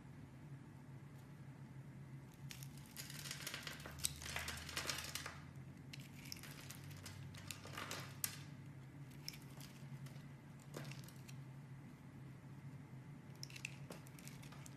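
A utility knife scores a grid into a solid, palm-sized, pink round opaque soap bar and carves off crumbly cubes. Soft, bright crunching and crinkling scrapes come in irregular bursts over a steady low hum, loudest around the middle of the clip.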